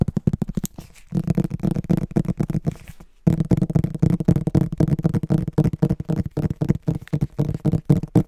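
Fingertips tap and scratch the back cover of a solid, medium green hardcover book, making a rapid, uneven run of dull, low-pitched knocks and soft scratching. The sound stops briefly around one second and again just after three seconds, then carries on.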